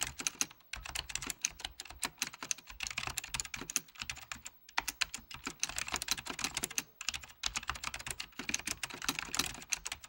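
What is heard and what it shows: A full-size beige plastic Apple Extended Keyboard II with mechanical key switches is typed on with the fingertips of both hands. Quick bursts of bright, sharp key clicks with almost no ring are broken by brief pauses, plus a faint low thud beneath some keystrokes.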